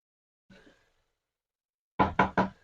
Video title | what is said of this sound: Smokey Jollof Rice Recipe REVEALED!/HOW TO GRILL YOUR FISH & CHICKEN #smokeyflavour #jollofrice | So by this time, there's still water in it.